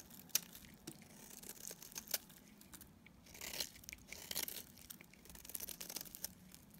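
A metal utility blade shaves an oval, solid pink bar of dried soap with a green stamped label, curling off fluffy shavings. Quiet, bright, crisp scraping and crackling cuts come in uneven bursts, with a few sharper snaps standing out. There is almost no low end.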